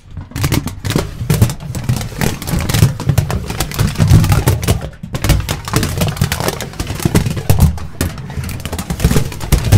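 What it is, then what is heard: Aluminium foil being crumpled. A large, thin, crinkled sheet of aluminium foil is held in front of the microphone and crumpled and rubbed with the fingertips. It makes a dense, continuous crackling and rustling with frequent louder bursts, over a heavy low, boomy thump from the close handling.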